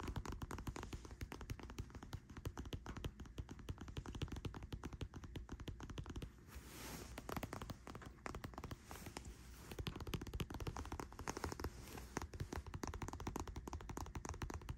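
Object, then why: Plastic lotion bottle. Long white-painted nails rapidly tap a pink cylindrical plastic body cream bottle with a frosted plastic cap, hollow and likely filled, lying on a bed sheet. The result is a quiet, dense stream of short, dry clicking taps with a soft, low-heavy body and almost no ring. The tapping briefly thins out around the middle before carrying on steadily.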